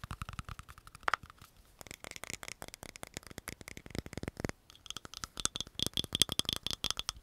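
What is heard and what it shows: A small, hollow, round green plastic cosmetic jar with a screw lid is tapped and scratched with long nails while its lid is handled. Rapid, dry clicks and scratchy rasps come in dense bursts, mostly bright and high-pitched with almost no ring, and a brief gap falls around the middle.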